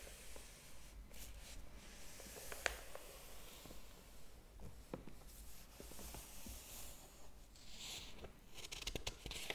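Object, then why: Hardcover book paper pages. Fingertips rub the paper pages of a large open hardcover book, then turn a page. Soft, dry rustling and scratchy friction run throughout, broken by brief crisp ticks and a brighter flutter of paper near the end, over a faint low background hum.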